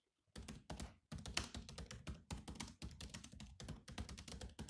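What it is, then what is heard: Plastic laptop keyboard being typed on. Fast fingertip typing on a silver laptop with black plastic keys produces dense runs of key taps in several bursts separated by brief pauses. Each tap gives a short, muffled low thunk with a bright click on top, dying away almost at once.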